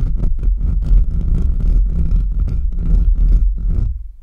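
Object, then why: Metal mesh microphone grille. Short nails of both hands quickly scratch the sides and top of the bare, hollow metal mesh grille of a large USB microphone. The result is a dense, continuous run of deep, rumbling, throbbing scrapes with bright scratchy streaks and a faint steady tone near 1.3 kHz. The sound fades out in the last half second.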